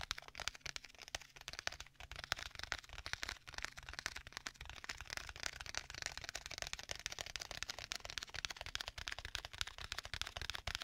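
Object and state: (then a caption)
Leather tablet case. Fingertips tap rapidly on the cover of a black stitched leather folio tablet case, making a dense, continuous stream of soft, dry, crisp taps with no ring. The taps are bright and papery, with a faint low rumble underneath throughout.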